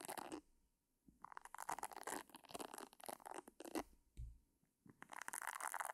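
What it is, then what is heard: Silicone facial cleansing brush. A pink, hand-sized silicone face-washing brush with a round head of soft silicone nubs is held beside the microphone without touching it while long painted nails scratch across its bristles. The result is bursts of crisp, crackling scratches and rubbing that sound bright and airy, separated by brief quiet pauses.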